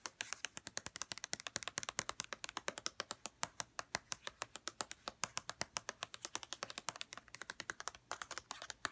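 Long red-painted nails tap rapidly on the sides of a white plastic St. Ives lotion bottle. About 73 short, sharp clicks come in a quick, uneven stream. Each click is bright and dry with almost no ring and very little low end.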